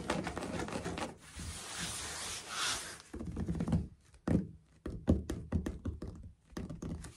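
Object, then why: Ceramic floor tiles. Fingertips tap and scurry across solid, dark grey ceramic floor tiles with grout lines. A hissy, bright scratching rustle fills the first three seconds, then gives way to a run of dull, low, short thunks and taps that die away almost instantly.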